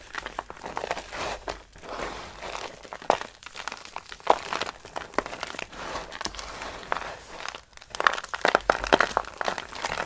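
Dry soap shavings are grabbed, crushed in the hand and rubbed with the palm, giving a steady dry crunching and crinkling in the midrange. Sharp crackles and brief snaps stand out in bursts, growing denser and louder toward the end, with no lasting ring.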